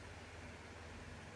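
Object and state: Nothing is struck.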